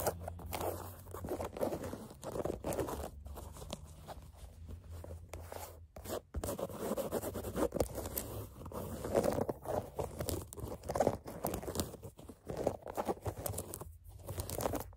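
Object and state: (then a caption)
Canvas sneaker upper. Long nails scratch the black canvas upper of an empty low-top sneaker near the laces and eyelets. Quick, dry rasping strokes are heard in dense bursts, with a mid-range fabric scrape and a steady low hum underneath.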